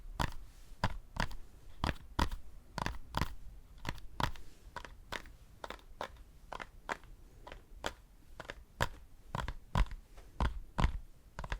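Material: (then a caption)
Foam. Fingers tap on a foam decorative pumpkin, making a steady series of short, dull taps at about one per second. Each tap is a brief, low thud with a faint crunchy edge and almost no ring afterward.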